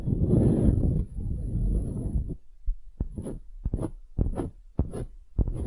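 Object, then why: Small wooden hemisphere. A small, solid light-wood half sphere is held between the fingers and worked with long glitter acrylic nails. First comes a dense, low, rubbing scratch with a faint steady high whine above it. Then it turns into a run of quick, dry, dull taps with bright clicky tips, each dying away almost at once.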